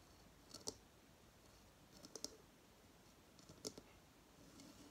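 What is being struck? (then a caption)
Dried coconut shell hideout. A hollow, dried, fibrous coconut shell hamster hideout sits on a coconut stand on a table and is tapped with fingertips and long fingernails. Short, dry, bright clicks come in three loose clusters over a faint steady hiss, each dying away almost at once.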